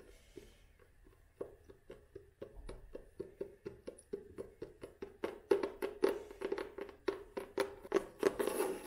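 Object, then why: Cloth-covered hardcover book board. Long nails tap and scratch on the cloth-covered board of a solid vintage hardcover book with a beige cloth cover and red spine, held in the hands. About 30 quick, dry taps with a muted knock near 400 Hz start soft and grow steadily louder and faster. Brighter scratching swells near the end.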